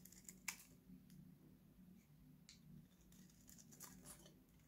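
A steel utility knife blade shaves an oval, pink, solid, dry Nivea bar soap held in one hand, and dry flakes fall off. Quiet, crisp, bright scraping and crackling strokes, one sharper at the start, sit over a low steady hum.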